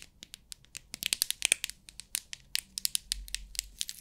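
Long acrylic nails tap and scratch the lid of a small rectangular clear plastic storage box with many compartments full of loose rhinestones, and the box is then tilted so the stones rattle inside. The result is a quick series of sharp, bright clicks and crisp rattles with almost no low end and no ring.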